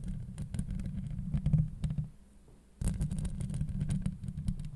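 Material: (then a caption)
Steel mesh. Long light-blue acrylic nails of both hands scratch and tap the hollow woven steel mesh grille of a Blue Yeti USB microphone. The result is a dense, deep rumbling scrape dotted with sharp, bright clicks. The sound drops to a near-silent pause in the middle, then the scratching resumes at full strength.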